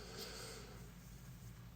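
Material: Nothing is struck.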